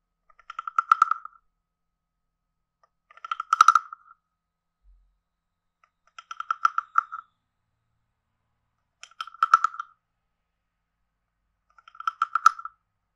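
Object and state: Wooden frog guiro.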